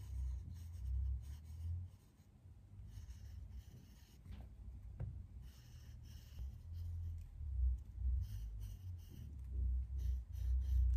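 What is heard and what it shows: A green colored pencil scratches and rubs across a large white paper drawing pad lying flat on a wooden desk while a leaf drawing is colored in. Soft, uneven scratchy strokes rise and fall over a low, muffled rumble.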